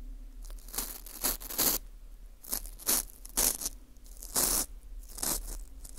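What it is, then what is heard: Dried wheat gluten ring scraped. A teal rubber-tipped earpick scrapes and scratches inside the centre hole of a small hollowed-out ring of dry, porous, crispy baked wheat gluten (fu), held in a gloved hand in front of a mic. Bright, crunchy, tearing-like scratches come in short bursts between quieter rustling gaps, over a steady low hum.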